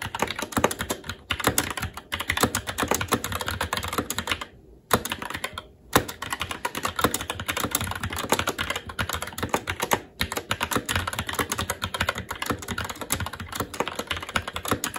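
Fingertips of both hands type continuously on a SteelSeries Apex 7 TKL mechanical keyboard with red linear switches, plastic keycaps and a metal top plate. The result is a dense, steady stream of short, sharp clicks and clacks with quick decay, broken by a few brief pauses.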